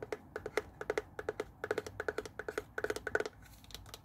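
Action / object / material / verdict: tap / plastic garment steamer body / plastic / none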